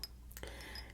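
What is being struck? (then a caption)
Glass perfume bottle tapped with fingernails. Natural nails tap a 5 fl oz Bvlgari Eau de Cologne glass perfume bottle, chosen over other tapping because they are less abrasive and more forgiving. Three quiet, light, glassy clinks are heard, each with a high, bright ring that dies away almost at once over a low background hum.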